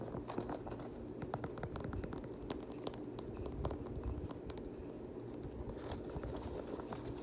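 Fingertips and short nails scratch and tap the rubbery TPU cage overlays and laces of an empty, hand-held black Nike Air VaporMax Plus sneaker with a synthetic mesh upper. The result is a quiet, steady stream of soft scratching and rustling, dotted with many brief, crisp ticks.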